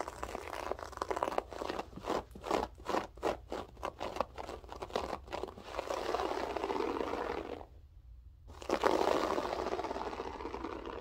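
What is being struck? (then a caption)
Loop-pile carpet. Long French-tip nails dig and scratch into a grey loop-pile berber carpet, making a dry, crunchy, crackling scrape. A run of quick rhythmic strokes gives way to steadier continuous scratching, a brief pause, and then a louder stretch of scraping.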